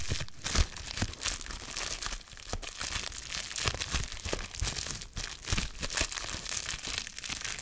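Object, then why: Plastic bubble wrap. Fingertips pinch and pop the bubbles on a small folded piece of clear plastic bubble wrap with yellow tape, crinkling the sheet as they go. Dense, bright crackling and crinkling runs throughout, broken by frequent sharp snaps and low thumpy pops that die away almost instantly.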